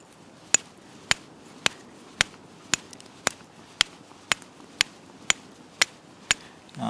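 A local Nova Scotia stone is struck twelve times with a fire steel, producing short, dull clicks with no ring and no sparks as the edge crumbles with each hit. The stone is too soft for striking sparks and holds no really hard material. A brief rustle follows at the end.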